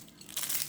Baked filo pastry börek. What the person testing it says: колко хрупкав е нашият бюрек